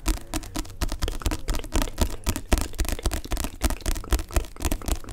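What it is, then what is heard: Paperback book. Long nails and fingertips quickly tap the glossy card back cover of a solid paperback book. The taps come in a rapid, uneven flurry of short, dry clicks over a dull, low thump.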